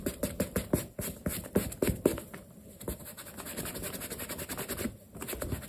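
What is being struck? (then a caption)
Leather sneaker. A black leather sneaker, stuffed with a cloth and held in the hand, has its toe and side buffed and rubbed with a yellow cloth under the fingertips. Quick, scratchy rubbing strokes come in fast, uneven bursts at first, then settle into a softer, steady swishing friction. The strokes have a dry, brushy texture with a faint bright hiss.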